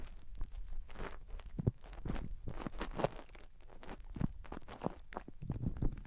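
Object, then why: Silicone rubber microphone ears. Long nails scratch and dig inside both of a pair of white silicone rubber microphone ears. The result is a steady run of muffled, crunchy scrapes and soft low thumps, heavy in the low end with quick, dry bursts and no ringing tail.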